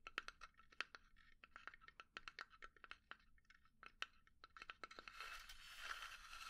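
A small hollow pine wood box resting on a palm is tapped and scratched with long nails. Quick, dry clicks come in a rapid, uneven patter with a hollow ring around 1.4 kHz that dies almost instantly. Near the end they give way to a steady, bright, raspy scratching.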